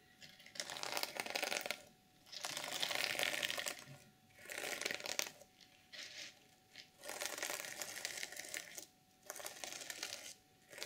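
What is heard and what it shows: Long nails scratch and flip the flat sequins on a reversible sequin fabric journal cover, making bright, crisp crinkling and scratching bursts. Each burst of rapid, fine clicks lasts a second or two and is separated by short quiet gaps.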